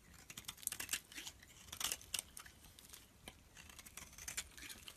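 A solid turquoise bar of soap held in the palm is scraped repeatedly with a utility blade, peeling off thin shavings. Quick, crisp scraping strokes produce bright, high hissy crackles with very little low end. The strokes cluster in uneven bursts throughout the clip.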